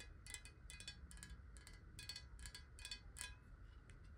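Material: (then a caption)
Glass. A clear, hollow square glass bottle, partly filled with water and tilted, is tapped quickly with long nails. Each tap gives a short, bright glassy click with a brief ring near 1.6 kHz, coming in quick clusters over a steady low rumble.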